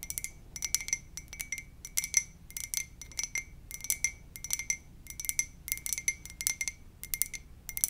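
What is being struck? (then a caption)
Ceramic mug. A white ceramic "muah!" mug is tapped gently in quick bursts of light clicks with short pauses between them. Each tap gives a short, bright clink with a clear tone near 2 kHz and a higher ring that fades almost at once, over a faint low background hum.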